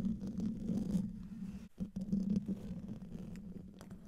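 Fingertips and nails scratch the hollow domed metal mesh grille of a large silver condenser microphone. The result is a dense, low, rumbling scrape with a steady hum around 200 Hz, briefly dropping away before picking back up and trailing off softer toward the end.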